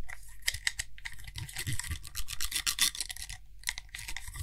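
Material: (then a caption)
Glass. A small frosted glass (possibly acrylic) cream jar with a gold lid is held in one hand while fingertips and nails rapidly tap and scratch on the lid and rim. The result is a fast, dry run of bright scratchy rasps and crisp clicks with no ring after each contact, over a soft low rumble.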